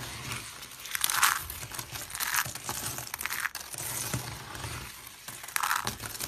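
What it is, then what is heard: Dry soap shavings being crushed. Dry pink soap shavings, brittle solid flakes, are scooped, crushed in the palms and raked with the fingers and purple nails. This produces dry, bright crunching and crinkling, with louder bursts of crackle peaking near 1.3 kHz over a soft, continuous rustle.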